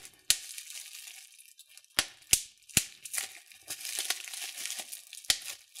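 Fingertips and thumbs pinch a clear plastic bubble wrap sheet, popping its bubbles. Several sharp, bright pops stand out over a steady crinkling of the plastic, each snapping off almost instantly.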